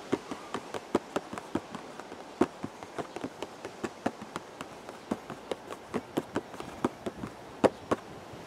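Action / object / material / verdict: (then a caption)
tap / cardboard box / cardboard / none. Fingertips tap the front face of a hollow, purple cardboard teacake box, giving 29 short, dry taps at an irregular pace with a few louder hits. Each tap has a hollow, mid-pitched knock that dies away almost at once, over a faint steady hiss.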